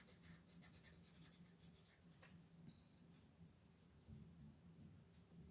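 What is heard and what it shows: A wooden colored pencil rubs across a thin white paper coloring sheet lying flat on a wooden desk, held in place by a hand with red nails, during steady coloring strokes. The quiet, soft scratching strokes come in repeated bright bursts over a low, steady hum.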